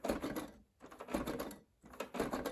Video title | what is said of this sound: Thrifting Haul from the Weekend of 1/26/2025 | there seems like there might be something bigger wrong here, because if you listen, there's kind of something rattling inside there